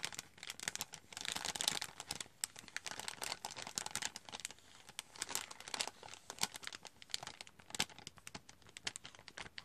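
Fingernails tap and scratch the front of a glossy foil-plastic cocoa powder packet while the bag crinkles. The sound is a dense run of sharp, bright crackles and clicks with almost no low end. Each tap dies away at once, with no ring.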